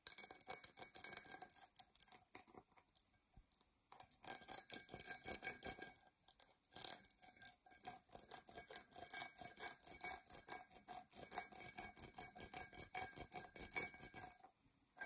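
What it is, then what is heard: Glass tumbler scratched with nails. Long nails scratch the embossed surface of an empty, hollow, dark purple tinted glass tumbler. The result is a quiet, dense run of rapid, irregular scraping strokes, bright and high-pitched, with faint glassy ringing tones. The scratching pauses briefly around the 3–4 second mark and again near 6 seconds.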